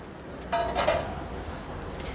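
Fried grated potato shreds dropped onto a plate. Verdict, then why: Crispy. Fried grated potato shreds (kis) for farali chivda are tipped into a plate, giving a quick burst of three crisp, bright clinking rustles with a short ringing tone near 660 Hz over quiet background hiss. The sound confirms the white potato shreds are crispy and ready, fried through and dry.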